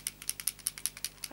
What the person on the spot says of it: And then shake it. You can hear something moving inside.